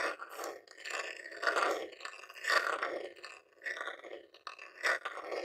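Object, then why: Plastic game console casing. A jewelled metal claw nail scratches and taps the top lid of a grey plastic Nintendo mini game console, a hollow box. Busy, dry scraping and clicking textures come in uneven bursts, with mid-range hollow plastic resonance and bright scratchy edges.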